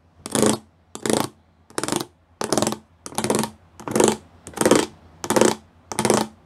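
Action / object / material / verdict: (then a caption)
tap / plastic panel with raised pyramid studs / plastic / none. Fingertips and nails tap the rows of small square pyramid studs on a flat grey plastic sheet. Nine short bursts of rapid, dry plastic clicking come at a steady pace, each with a bright rattling edge over a mid-range body. The clicks stop dead, with almost no ring between bursts.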